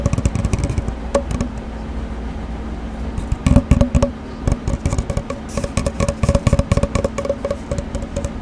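Long dark-painted nails tap and scratch along an empty, hollow cardboard paper towel roll, about 25 cm long and held horizontally. Quick, irregular hollow taps with a low, dull resonance come in busy bursts, easing into a softer, steady scratching stretch around the second to third second before the rapid tapping picks back up. The hits are short and dry with almost no ring.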